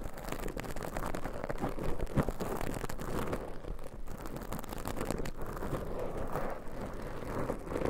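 Very long pointed nails scratch and squeeze two small black, soft, porous foam windscreens on pencil microphones. The result is a steady, dense, muffled crackling and rustling, heavy in the low end with little brightness, and a slightly louder scrape near the two-second mark.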